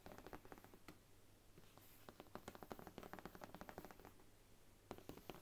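Long nails tap the brown faux leather spine of a thick Bible, then the book is laid flat and its cover is tapped. The result is a run of quick, dry clicks that fade almost instantly, with a steady low hum underneath.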